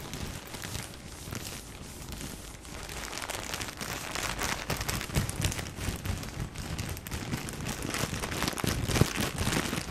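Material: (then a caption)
Plastic film. Fingertips crinkle and squeeze the thin plastic film of a full, soft tissue pack as it is turned over. A dense, continuous stream of crisp crackles and rustles runs throughout, with a soft low thump underneath. It grows gradually louder toward the end.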